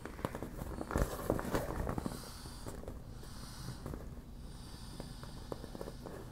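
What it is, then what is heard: Partly deflated vinyl beach ball. Long black nails tap and scratch the slack, glossy vinyl of a partly deflated, hollow yellow smiley-face PVC beach ball that is softening as it deflates. An irregular patter of soft, dull taps with brief scratchy rustles sits mostly in the low range with little ring, busiest in the first two seconds before settling into quieter scratching.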